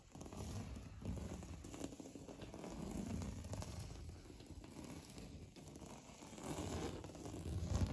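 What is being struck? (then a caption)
Textured painted drywall wall. Fingernails scratch hard across a solid, beige, knockdown-textured painted drywall interior wall, making a steady, dense, low rasping scrape with soft crackly grit. The hand turns palm-out near the end, and the scratching swells louder in the final seconds.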